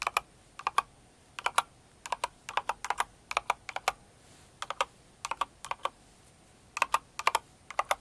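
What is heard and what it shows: A Cinnamoroll kawaii mechanical keyboard with plastic keycaps is typed on with a single finger and long nails. About 35 sharp, bright clicks centred near 1 kHz come in irregular clusters of two to four, each ending almost instantly, over a quiet background.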